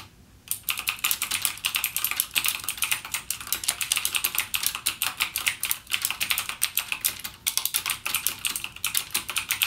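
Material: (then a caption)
Plastic. Fingertips type continuously on a backlit mechanical gaming keyboard with plastic keycaps and clicky Cherry MX Blue switches. A rapid, steady stream of sharp, bright clicks follows a brief quiet start. Each click decays almost instantly, with very little low end.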